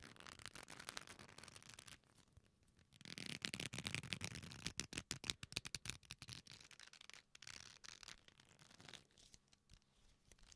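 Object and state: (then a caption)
Leather belt. An old dark leather belt with a metal buckle is held in both hands close to the microphones and folded and bent, so the leather creaks and rubs against itself, with possible faint clinks from the buckle. Quiet, bright crackling and dense, irregular creaks come in bursts, with a brief lull around two to three seconds and the busiest stretch in the middle.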